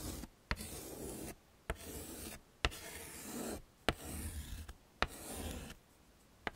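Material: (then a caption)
Chalk. A yellow chalk stick scrapes across a small flat black chalkboard in a wooden frame, tracing letters in bursts of dry, gritty rubbing with brief silent pauses between strokes. Each stroke begins with a sharp tap as the chalk meets the board, and the scraping carries a low rumble beneath a bright hiss.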